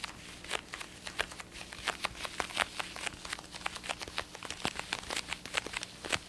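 An over-ear black and blue plastic gaming headset with padded ear cups and a hollow shell is held in both hands and tapped and scratched with fingertips and nails. Many quick, dry, bright clicks and taps sound out over a soft scratchy rustle. Each tap stops almost at once with no ring.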